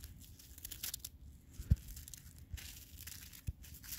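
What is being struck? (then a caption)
Ball of icy, granular snow. A palm-sized, solid ball of granular snow that has turned to ice, held in a black glove, crunches as the fingers squeeze it. Quiet, crackling grinding bursts with bright hiss are heard, broken by a couple of sharper low thumps as the ice gives.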